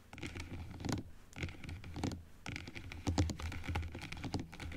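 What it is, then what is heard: Plastic dental model tapped with nails. Long acrylic nails tap and scratch on the plastic teeth and blue plastic base of a large plastic dental model, first open and then closed. Quick, irregular clicks and scrapes come in loose clusters over a soft, low thud, each tap dying away almost at once.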